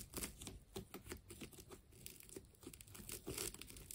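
A utility knife blade slices into a hand-sized ball of wound black and white plastic tape. The cutting makes a steady run of quick, dry crinkling and tearing crackles with bright, hissy edges over a soft low rustle, and no ringing after each cut.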